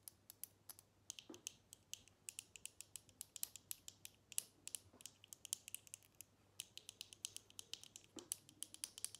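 Long nails tap rapidly on a small square glass perfume bottle with a black cap, held in the hands and partly full of liquid. It makes a quiet, steady run of dozens of sharp, bright clicks that stop at once without ringing, over a faint low hum.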